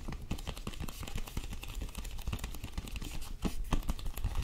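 Long nails tap and grip the cover and edges of a small, thin cardboard-covered illustrated picture book held in both hands. The result is a steady stream of quick, dull, low tapping thuds with short scratchy gripping sounds between them. Each tap dies away almost at once.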